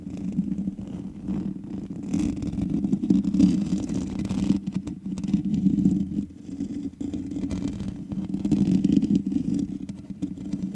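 Long nails of both hands scratch the black metal mesh grille on the hollow head of a large USB condenser microphone. The result is a continuous, dense scratching rumble with a strong low-mid hum centered near 200 Hz and almost nothing in the highs. It swells and dips in loudness over about 11 seconds.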